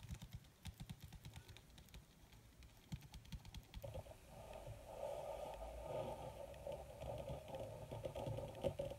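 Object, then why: Wrinkled leather sheet. Long red nails tap quickly on a wrinkled black leather (possibly faux) sheet, giving a run of sharp, dry, short-lived clicks. After about four seconds the nails switch to scratching the surface, a steady rasping hiss centered in the mid range that lasts to the end.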